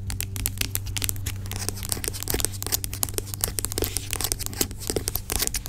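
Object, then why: Plastic pump bottle of gel. Long acrylic nails tap and scratch the sides of a large, dark plastic pump bottle of aloe vera gel lying on its side; the bottle sounds hollow but seems filled with gel. Rapid, bright clicks and crinkly scratching run throughout over a steady low hum, each tap dying away almost instantly.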